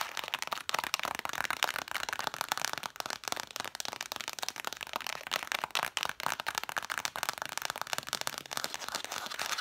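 Long matte dark fingernails tap and scratch rapidly on the red cloth spines of a stack of six vintage hardcover books with gilt lettering. The result is a dense, continuous stream of crisp, dry clicks and bright scratchy rustling with no low end and no ring after each tap.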